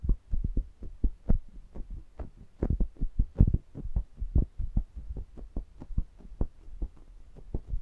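A fingertip presses and rubs across the metal mesh grilles of two small pencil condenser microphones angled toward each other, touching both at once in direct contact with the capsules. About thirty short, deep thumps follow one another in an uneven, heartbeat-like rhythm, with a low hum and almost nothing in the highs.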